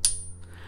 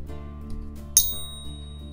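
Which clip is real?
The second.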